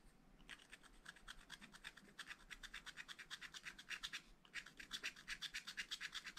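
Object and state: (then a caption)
Scratch-art paper being scratched. A wooden stylus makes rapid, rhythmic scratching strokes across a black coated scratch-art paper page in a spiral pad. The result is a dry, bright rasping sound, with a brief pause near the middle before the strokes resume.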